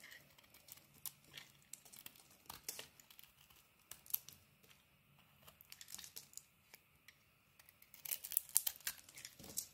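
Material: Soap.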